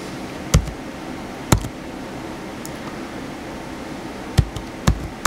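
Fingertips type on the white plastic keys of a small blue plastic HP laptop. Sparse, dull, low thuds with a brief bright click on top stand out over a steady low background hum, with a long pause between the early taps and a quicker cluster near the end.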